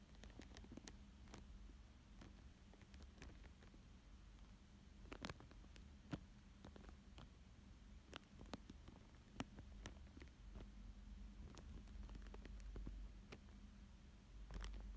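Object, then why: Thin plastic film over paper. A thin dark tool traces and scratches across a thin clear plastic sheet lying flat over a paper fish drawing. Soft, faint scratching and crinkling is broken by scattered sharp, brief ticks, over a steady low hum that stays quiet throughout.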